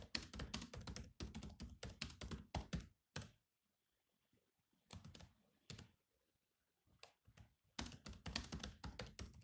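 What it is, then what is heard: Laptop keyboard with plastic keys. Both hands type fast with their fingertips on the black plastic chiclet keys of a silver laptop with a hollow shell. Quick runs of dull, low, thunky taps with bright clicky edges come in bursts. The typing breaks into a near-silent pause and a few short spurts before picking back up into dense typing at the end.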